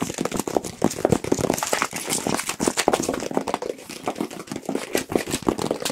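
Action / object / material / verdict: tap / small plastic jar with lid / plastic / none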